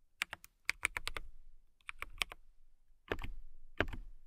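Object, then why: Acrylic mechanical keyboard. Long nails and fingertips type on a compact transparent acrylic mechanical keyboard with clear plastic keycaps and a clear case. Quick, sharp keystrokes sound bright and clicky with a low thock underneath, coming in short bursts separated by brief pauses. Two heavier, fuller keypresses land near the end.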